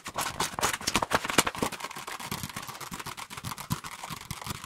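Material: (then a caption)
Paper. Fingertips and short nails quickly tap and scratch across the glossy paper cover of a small, solid paperback book of scary stories held in both hands close to the microphones. The result is a fast, irregular stream of dry, crisp clicks and bright scratching with a brief papery texture and almost no ring.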